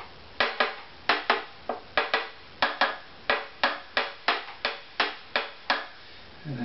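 A thin stick taps the flamed maple back plate of a hollow wooden violin lying face down, while the other hand holds the neck. Seventeen short, dry knocks are heard at an uneven pace, each with a hollow wooden tone centered around 690 Hz and a quick decay. A soft low rustle follows at the end.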